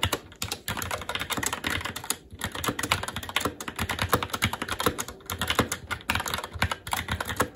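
A SteelSeries Apex 7 TKL mechanical keyboard with Red switches, black plastic keycaps on a metal top plate and a hollow RGB-backlit case rests on a desk while fingertips of both hands type continuously. A steady stream of quick, dry clacks with a bright edge and a hollow low thump fills the whole clip, each keystroke dying away almost instantly.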